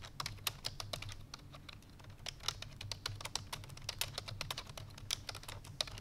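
Fingertips with long painted nails rapidly press the keys of a full-size black plastic computer keyboard resting on a white fur rug. Fast, bright typing taps come in a dense, uneven stream, each click dying away almost instantly over a steady low hum.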